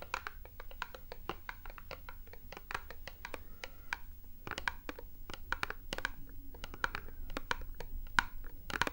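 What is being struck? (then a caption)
Small printed cardboard box. Long nails tap and scratch a small, hollow, printed cardboard product box held in the hands. Quick, light, dry taps fall in uneven clusters, mixed with soft scratching and a few brighter clicks. Beneath them runs a steady low background rumble.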